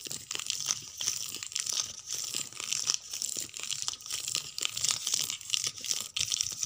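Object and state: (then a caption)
Paperback book spines. Long painted nails scratch and tap across the paper and card spines of a row of paperback books standing on a shelf. The result is a dry, crinkly, bright scratching texture, broken by quick soft taps that fade almost instantly.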